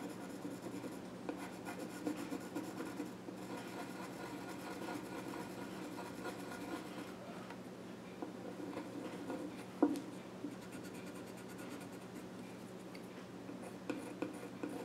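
A pencil scratches drawing strokes across the flat top of a small wooden child's stool. Quiet, steady scratching and rubbing runs throughout, with a steady low hum underneath and one sharper tick of the pencil near the ten-second mark.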